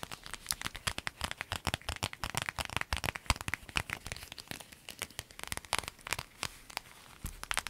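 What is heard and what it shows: Long acrylic nails tap, scratch and squeeze a small, empty-looking clear flexible vinyl zip pouch with yellow fabric trim. The result is a dense stream of quick, bright crinkling clicks and crackles that stop dead with no ring, over a faint low rumble.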